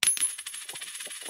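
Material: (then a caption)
Silver. Two silver quarters are dropped in a ping test, giving a bright clinking impact followed by quieter, rattling bounces and a sustained high ring. The ring confirms they are real silver quarters.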